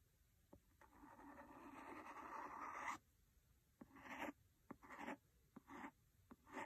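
The blunt end of a wooden pencil scratches and taps the cover of a large, solid, red cloth-covered hardcover book lying flat on a fluffy rug. A long, soft, raspy scrape runs for about two seconds, then short scratching strokes alternate with sharp, dry taps.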